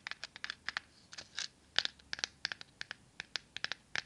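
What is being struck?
Cardboard matchbox with matches inside.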